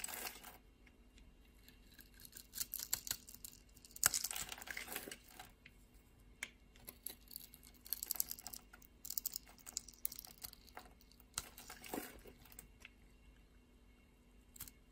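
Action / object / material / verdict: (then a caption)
scrape / bar of soap scraped with a knife blade / soap / none. A solid purple soap bar held in the hand has thin layers scraped off it with a utility knife blade. The result is a series of soft, bright, crisp scraping and shaving sounds with short pauses between strokes.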